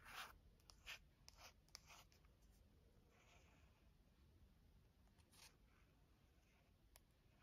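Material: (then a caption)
Glossy paper. Long nails scratch and trace across the cover illustration of a Taschen Chagall paperback art book with a glossy paper cover. Quiet, bright, dry scratching strokes come in irregular bursts, louder in the first two seconds, over a faint steady low hiss.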